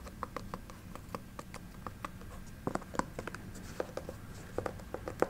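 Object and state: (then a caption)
Synthetic chunky sneaker. Long nails tap and scratch on the synthetic leather upper and the sole of a chunky synthetic sneaker held upright. A quick run of short, dry clicks plays over a soft, steady scratching, and each tap stops almost at once.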